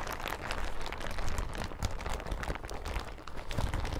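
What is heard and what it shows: A thin, yellow, crinkly plastic hazmat suit is bunched on a table, then lifted and crumpled and scrunched with hands and fingertips. The result is a steady run of dense crinkling and sharp crackles over a heavy low rumble, holding at a fairly even level for the whole clip.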